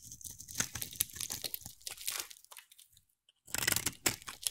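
A hand-sized solid oval teal bar of soap, held in one hand, is scraped with a utility knife blade, shaving off curls. Dense, bright, crunchy scraping fills the first two and a half seconds, then drops to near silence before another burst of crisp scraping resumes.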